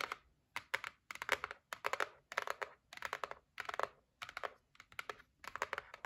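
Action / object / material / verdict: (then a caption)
tap / cardboard gift box lid / cardboard / none. Long nails tap along the lid edge of a white cardboard gift box resting on a table. Quick clusters of dry, clicky taps come in short bursts separated by brief pauses, each tap bright and papery with a crisp attack centered around 2 kHz and almost no ring or low end.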